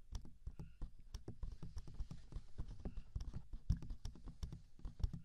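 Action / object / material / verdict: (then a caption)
tap / silicone microphone ears / silicone / none. Both hands cup the two soft, hand-sized silicone ears of a 3Dio binaural microphone, with hollow ear canals, as fingertips tap and rub the silicone. A rapid, uneven series of soft, deep, muffled thumps and rubbing bumps sounds very close to the microphone, each dying away almost instantly.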